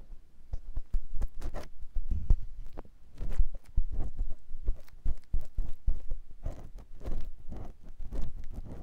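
A clear silicone ear pick with a yellow handle scratches inside the ear canal of a white silicone ear on a square binaural microphone block mounted on a tripod. Close, dense scraping and soft thumping rubs come in irregular bursts, heavy in deep low rumble with brief bright streaks of friction.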